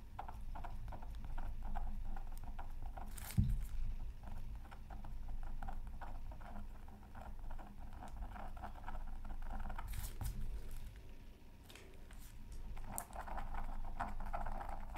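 A thin wooden stylus scratches dense short strokes across the upper area of a flat, black-coated scratch art paper sheet resting on a silicone mat. The result is a steady, rapid, close-miked patter of dry scratches with a low rumble underneath. Brief louder scrapes stand out near 3.5 and 10 seconds.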